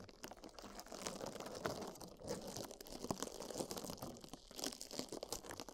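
Two small, soft, dry yellow porous sponges, one in each hand, are rubbed and squeezed by fingertips against silicone microphone ears. The result is a steady run of quiet, close crunching and crinkling rubs with short, dry transients and a bright, airy texture.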